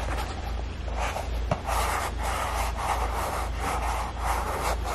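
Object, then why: Foam rubber clog. A single dark grey Crocs clog, hollow and empty and made of soft molded foam resin with vent holes on the toe, is rubbed and tapped by fingertips across the perforated toe and pressed along its rounded heel rim. Steady rhythmic swishing rubs pulse in soft bursts over a constant low hum, with one brief tap standing out midway.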